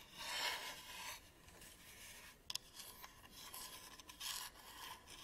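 Fingertips and nails scratch and rub the textured sides of a small, hollow black plastic camera battery charger held close to the microphone. The result is a quiet, bright, raspy scraping that swells and fades in uneven strokes, broken by a few sharp clicks, with almost no low end.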